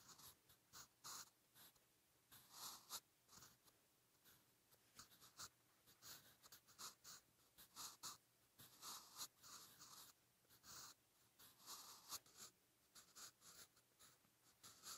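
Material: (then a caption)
Paper. A graphite pencil point scratches strokes onto a lined page of a spiral notebook lying flat while writing Hangul by hand. The clip is a quiet, bright, dry scratching in a steady series of short bursts, with almost no low end and no ring after each stroke.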